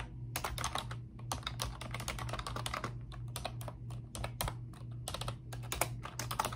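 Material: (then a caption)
Plastic. A pink plastic computer keyboard with round, backlit typewriter-style keycaps is typed on quickly by both hands with long pink nails. The result is a steady stream of short, bright, clicky taps that die away almost instantly, over a constant low hum.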